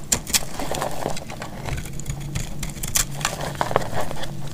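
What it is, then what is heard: Dry bar soap being cut. A solid, dry yellow bar of soap held in the hand is sliced and scraped with a metal utility blade. Crisp, bright scraping and cracking sounds come in quick bursts over a low steady hum, with several sharp snaps standing out.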